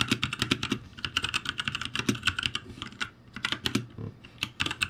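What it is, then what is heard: Plastic mechanical keyboard. Fingertips type continuously on a backlit ROCCAT G65 mechanical keyboard with plastic keycaps, tapping the keys in a quick, uneven run. Each keystroke is a short, bright plastic click with almost no ring and a slight low thock underneath, with brief lulls around the three- and four-second marks.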